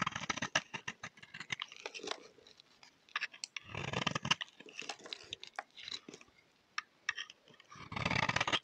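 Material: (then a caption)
Soap. A solid oval green bar soap is held in hand and scraped and cut with a utility knife blade. Quick, crisp scraping and crunching strokes with bright, hissy texture, broken by a few longer, fuller shaving passes.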